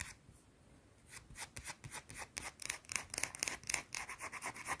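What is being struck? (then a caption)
Small solid bar of soap. Long blue nails scratch a small round solid white soap bar, starting with about a second of near silence and then a fast, uneven run of short, bright scraping strokes. The scrapes are mostly high hiss with almost no low end, at roughly four strokes per second. Each stroke ends dry with no ring.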